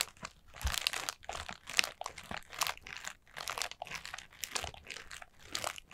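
Long nails tap and scratch the pleated paper of a collapsed, hollow, light orange paper Halloween lantern with a black plastic base at its centre. The result is a dense run of bright, crinkly, crunching taps and scrapes with almost no ring and little low end.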